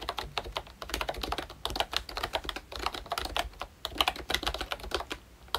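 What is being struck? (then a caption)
Plastic membrane keyboard. A full-size ROYCHE Disney Mickey Mouse retro membrane keyboard with round plastic keycaps is typed on continuously with the fingertips of both hands. It gives a steady run of soft, quick, bright plastic clacks with very short decay and a few louder taps along the way.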